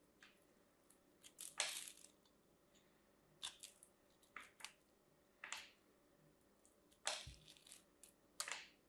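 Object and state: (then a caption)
Bar of soap being shaved. A craft knife shaves scored cubes off a solid teal and white striped bar of soap held in the fingers, giving short, bright crunching scrapes. The bursts come in uneven clusters over a quiet background, each dying away quickly.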